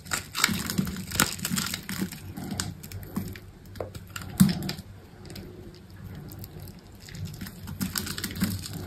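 A solid green dry soap bar held in the hand is sliced with a utility knife, cutting off scored cubes and strips. Over about nine seconds there are many short, dry crunching and crumbly crushing sounds, with brief bright clicks and cracks. A louder snap stands out near the middle.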